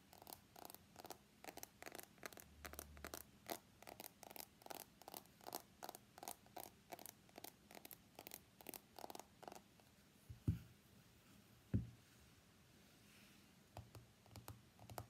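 Fingernails tap along the edges of an iPhone X with a glass body and stainless steel frame while it is held, making a quick, uneven run of quiet, dry clicks. Two louder, low thuds come as the phone is set down, then nails tap on its glass screen as it lies on a mat, giving softer, sparser taps.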